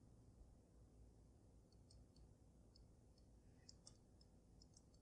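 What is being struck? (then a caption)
Water-filled glass snow globe. Long nails tap lightly and rest on the glass dome of a water-filled glass snow globe with glitter and a dragon base. Small, bright, irregular ticks sit over a steady low rumble, each fading almost at once. The overall sound is quiet and soft.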